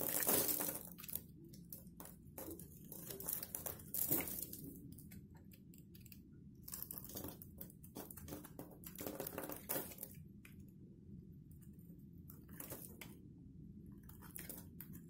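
A box-cutter blade carves and scrapes a solid, dried soap bar with black and white stripes held in one hand, and flakes fall away. Crisp, bright crunching scrapes come in quick, irregular bursts over a low background hum. They are loudest at the start and grow softer and sparser toward the end.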